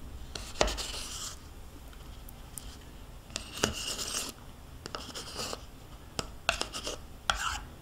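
A metal spoon scrapes the inside of a small, hollow plastic yogurt cup that is held in one hand and nearly empty, with swirled residue left inside. Bright, raspy scraping strokes come in bursts, punctuated by sharp clicks as the spoon knocks against the plastic. Quieter pauses fall between the strokes.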